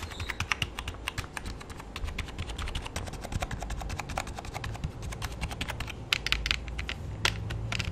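Fingertips type rapidly on the keys of a full-size black plastic keyboard with a hollow body. It makes a dense, steady stream of short, sharp, bright clicks over a low background rumble, and each click dies away almost at once.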